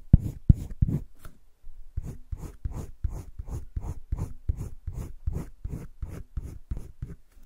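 A green wooden colored pencil held at the fingertips makes short shading strokes across a flat spiral-bound sketchbook page. Quick, dry scratching rubs come in a steady, rhythmic run, with a few sharper strokes at the start and a brief pause before the strokes resume.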